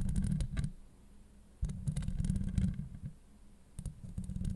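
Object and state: Metal mesh microphone grille.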